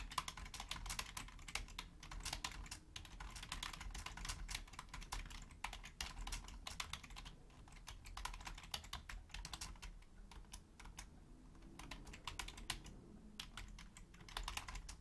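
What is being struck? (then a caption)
Plastic computer keyboard. Continuous fast typing on a hollow, black, full-size plastic Logitech keyboard, with both hands on the keys throughout, striking with long nails and fingertips. Dense, sharp, bright clicks stream steadily over a low background rumble, with a brief lighter stretch before the typing picks up again.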